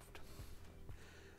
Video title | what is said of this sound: Spülen Werkstoffe! / Blanco / Systemceram / Nobilia / Häcker / Ballerina Kaufberatung #1 | die Keramik ist ein sehr massives Material. Das hört man schon, wenn man dagegen klopft.